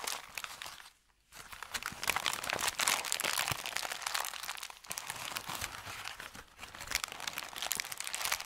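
An empty, medium-size, thin brown kraft paper bakery bag with red print is crumpled, squeezed and crinkled by fingertips over a felt mat. Dense, bright, crackling crinkles run almost nonstop, broken by a near-silent pause around one second and brief dips later on. The rustle stays mostly in the high range with almost no low end.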